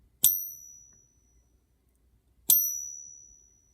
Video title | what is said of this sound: Is Junk Silver Still Good to Buy? BIG Silver and little gold Purchased | doesn't resonate very long. It just kind of ends kind of abruptly